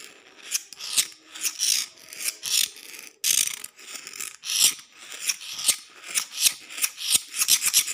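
The steel blade of a green-handled utility knife is scraped back and forth across a solid outdoor concrete floor. It makes a run of short, gritty, high-pitched rasping strokes with almost no low end, each dying away quickly. The strokes come faster and closer together toward the end.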